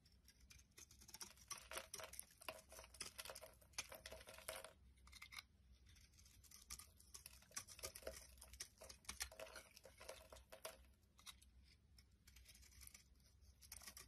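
A metal blade scrapes and carves a solid oval pink Lux soap bar held in the hand, shaving flakes off it. The sound is quiet, with dense runs of crisp, bright scraping and crackling strokes that come in bursts with brief pauses. A faint low hum sits steadily underneath.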